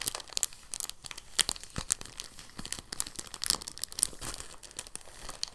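A thin, clear, empty soft plastic bag is held in both hands and crinkled and folded with the fingertips. The result is a quiet, steady run of dense, bright crackles and crinkles, with sharp snaps scattered throughout and very little low end.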